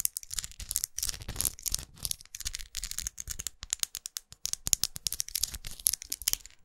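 A small red studded plastic lipstick tube with a dark band, held in the fingers, is tapped and scratched with long acrylic nails. Quick, bright plastic clicks mix with dense, scratchy bursts in an irregular stream. Each tap stops dead with no ring.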